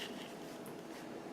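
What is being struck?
Nothing is struck.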